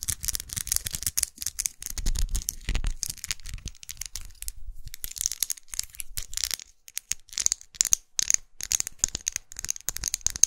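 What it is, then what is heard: Plastic lipstick case. A small, closed, dark red faceted plastic lipstick tube held in the hand is tapped and scratched with long acrylic nails. Rapid, dense clicks and scratchy rasps are heard, mostly bright and high with little ring, plus some low handling rumble.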